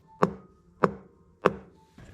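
Three knocks on a single-layer sheet steel body panel of a BMW E39, for comparison with the multi-layer frame rail. Each knock gives a short, hollow, tinny tap with a quick ring centered around 400 Hz.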